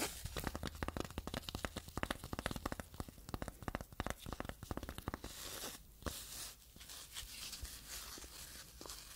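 A small, flat, hollow phone case covered in dark blue crushed velvet, with a white cat-eye camera cutout, is held in both hands and scratched and tapped with long yellow-and-black painted nails. Dense, sharp clicks and raspy scratches come in quick succession for the first five seconds, with a low hum underneath. Then they give way to softer, steadier brushing and rustling.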